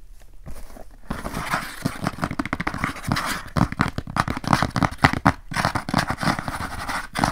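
Fingertips and nails of both hands scratch across the flat brown kraft cardboard inner lid of an open rectangular document box with a black edge, held upright. Dry, papery scraping comes in rapid bursts of short strokes, some slow and some fast, with a dull low body under the bright rasp and brief pauses between runs.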